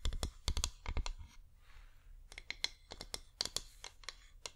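A flameless wax pillar candle is tapped with long nails on its side and rim, giving about 20 short, dry clicks in an irregular rhythm with a dull low thud under each. Midway there is a brief stretch of soft, faint scratching before the quick tapping resumes.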